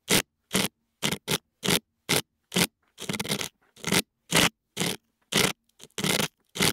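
A thin metal dental pick, held in fingers with long nails, scrapes inside the left ear canal of a soft silicone ear on a white binaural dummy-head microphone that holds the microphones in its ears. The result is a quick, uneven series of short, bright, scratchy scraping bursts separated by near silence, with a faint low hum between strokes.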